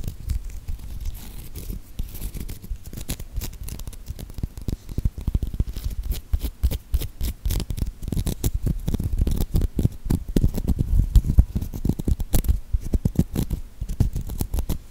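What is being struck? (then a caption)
Whole avocado with pebbly skin. Long nails scratch and tap the rough, pebbly skin of a whole, solid green avocado held close to the microphone. Dense, rapid dry clicks and scraping crackle along steadily, heavy in the low end with almost no ring.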